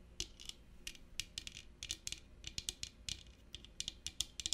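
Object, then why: Small metal clutch with studs and stone inlays. Long painted nails tap and scratch a small, hollow, rigid metal clutch purse covered in brass studs and red stone inlays as it is held up. About 22 quick, bright clicks and ticks stand out, centered near 3.4 kHz, with light scratching in between. Each tap dies away almost instantly over a quiet low hum.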